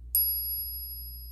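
A coin is tapped once with another coin in a ping test, giving a sharp, high metallic ping that rings on as two steady tones, fading slowly over about a second. This second coin sounds different from the first one tested, with a low background hum underneath.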